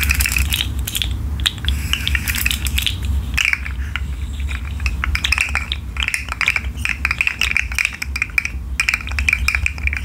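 A rainbow articulated plastic fidget slug hangs from the fingers and is shaken and bent so its segments click. Dense, rapid, bright plastic clicks and rattles ring around 2.3 kHz over a steady low rumble.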